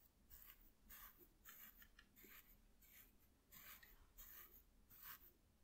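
A soft makeup brush, held in one hand, is brushed across a flat piece of white corrugated cardboard. The result is a steady series of quiet, airy swishes, each stroke a short bright hiss over a faint low background.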